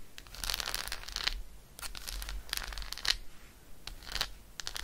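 Long acrylic nail tips scratch across the embossed squares of an unwrapped dark chocolate bar, a solid segmented slab held in one hand. It makes quick, bright, dry scratching bursts in repeated strokes with short pauses between them, over a faint low rumble.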